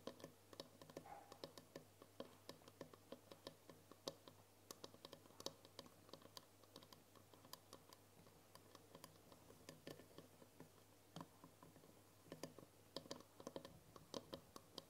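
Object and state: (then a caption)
Glass jar tapped with nails. Long nails tap quickly on the side of a tall glass jar with a green lid, full of foil wrappers. It makes a fast, uneven stream of short, bright clicks that sounds like typing on a keyboard, over a faint low steady hum. The ticks die away almost instantly, with a few louder taps standing out.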